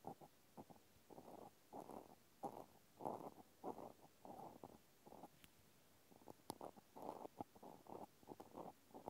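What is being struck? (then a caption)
Small plastic clothespin scratched with a cotton swab. A cotton swab tip scratches inside the hole and along the edge of a small pink plastic clothespin held in one hand. Soft, dry scratching comes in short, uneven bursts, with most of the sound in the midrange and little low or high content. Brief pauses fall between the strokes.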